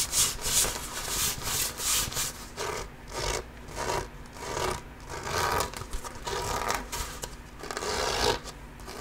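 A full-size inflated hollow basketball with a pebbled composite leather surface is held against the chest and scratched and rubbed with the fingertips and nails of one hand. Repeated bright, scratchy strokes swell and fade over a faint low background, producing a steady rhythmic rasping texture.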